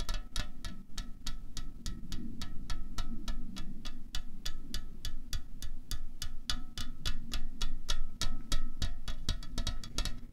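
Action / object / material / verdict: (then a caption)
tap / aluminium drink can / aluminium / none. Fingernails tap a slim, hollow aluminium Coca-Cola Cherry can lying on a tablecloth, at about three to four taps per second. Each sharp, bright click carries faint metallic ringing tones, over a steady low rumble.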